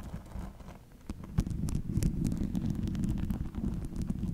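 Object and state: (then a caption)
Metal chainmail ball. Long nails scratch and tap a hollow ball made of small metal rings, producing a dense, rustling jingle of tiny clicks and scrapes over a low, muffled rumble. Brief bright ticks stand out as the rings shift against each other, and the texture grows fuller and steadier after the first second.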